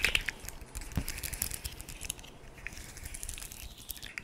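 Long nails tap and scratch along the segments of a hand-sized, hollow, segmented rainbow plastic fidget slug toy held close to the mic. A steady run of quick, bright, crisp clicks and scratchy crinkling rattles fills the clip, with a single soft low thump around the one-second mark.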